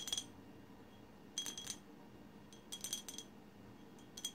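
Long silver acrylic nails tap and scratch a colorful glass bottle in quiet, irregular bursts of bright clicks. Each tap gives a short glassy ping near 3.3 kHz with faint higher overtones that fades within a fraction of a second.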